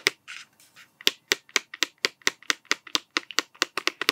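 A hollow cardboard Smarties tube with a blue plastic cap is held upright and scratched and tapped with fingertips. Soft scratching near the start gives way to a steady run of about nineteen crisp, dry taps with bright, papery clicks and almost no ring.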